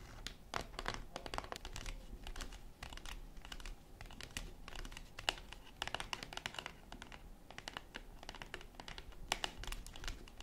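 Long acrylic nails rapidly tap a flat yellow cardboard chocolate bar box, with the bar still inside, as it lies on a wooden table. Dense, dry, bright clicks patter unevenly in quick bursts, each dying away almost instantly, over a soft low background hum.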